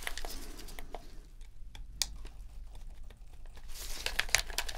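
A metal dental pick scrapes around the trigger and shoulder-button seams of a hollow white plastic PS4 controller, held upright in gloved hands while the dirty controller is deep cleaned. Soft, crinkly scratching is broken by short, bright ticks and clicks over a faint low hum, growing busier and louder toward the end.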